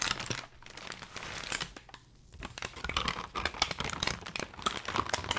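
Brown kraft packing paper held in gloved hands is crumpled and squeezed into a bundle. Bright, dense crinkling and crackling start the clip, ease into a softer rustle, and go briefly quiet around the two-second mark. Sharper, louder crackles then run to the end.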